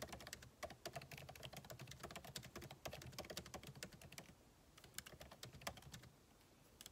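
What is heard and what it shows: Fingertips type continuously on a backlit MacBook Pro keyboard with plastic keycaps set in an aluminum body, producing rapid, crisp key taps with bright clicks over a soft low thump. Each tap dies away almost instantly, and the stream briefly thins into quieter stretches near the middle and end.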